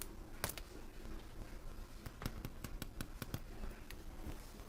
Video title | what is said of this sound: Ms. Crystal's Kitchen: Homemade Bread | it sounds hollow. That's what you want. That means it's done.